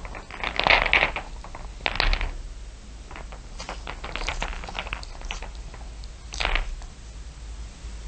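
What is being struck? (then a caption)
Heap of small glass marbles. Fingertips and long nails scratch and tap across the top of a heap of small solid glass marbles, dark shiny ones mixed with clear blue ones. Bright, quick clicks and clinks come in bunches, with louder rattling bursts near the start, around two seconds, and again around six and a half seconds. A steady low hum runs underneath.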